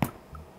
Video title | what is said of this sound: 无需弃种，一次就成功的天然酵母酸面包- 鲁邦种 - 天然酵母 - 酸面包 - 欧包 - 全麦面包 | tap the bottom to make a hollow sound , which means it is cooked